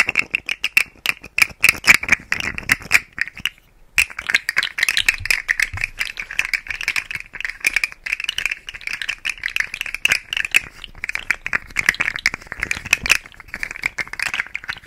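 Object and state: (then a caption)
Plastic articulated fidget toy rattling. A rainbow segmented plastic articulated fidget slug toy is held in the fingers close to the mic and twisted and shaken. Its segments make dense, rapid, dry clicking and rattling, bright with a strong band around 2.3 kHz. The clatter stops briefly just before 4 seconds and then continues steadily to the end.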